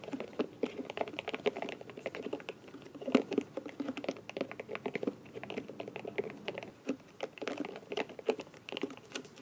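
A small, round, light blue silicone scalp massager brush with soft bristles and a plastic back has its silicone bristles scratched and flicked by long nails. The result is a steady stream of soft, dry, rapid clicks and taps, mostly in the low-mid range, with occasional louder flicks that ring only briefly.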